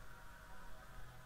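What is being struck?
Nothing is struck.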